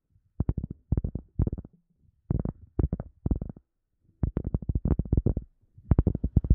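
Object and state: Cork being tapped.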